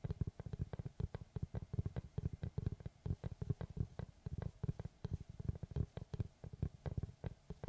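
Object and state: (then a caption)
Wooden tree slice. Fingertips and nails scratch and tap the flat surface of a large, round, solid wooden log slice with a bark edge, held behind the microphone. Dozens of quick, dry taps land in an uneven stream of soft, low, hollow knocks that die away almost instantly, with a faint scratchy texture between them.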